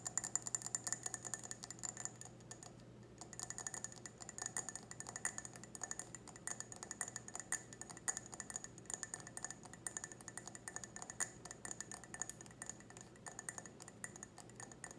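Long red nails tap a clear, empty, hollow stemmed wine glass held sideways, striking both the bowl and the base. The result is a quiet, steady stream of rapid, light glassy clicks and clinks with a bright, high ring that dies away almost instantly after each tap.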